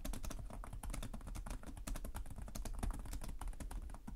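Fingertips with short nails type continuously on the plastic chiclet keyboard of a black laptop resting on a desk. Rapid, overlapping key taps form a steady stream of short, crisp clicks, each with a soft low thud beneath a bright tick and almost no ring.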